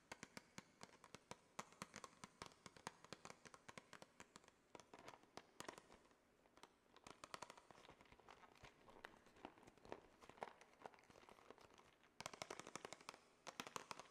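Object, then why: Small plastic tray with clear plastic cover. A small, flat pink plastic Glamnetic press-on nail tray, with the nails under a clear cover, is held in the hand and tapped and scratched with long fingernails. Dense, rapid, dry clicks and scratchy crackles sit mostly in the mid and bright range, with little low end and almost no ring. The tapping thins out briefly and returns in a denser, louder burst near the end.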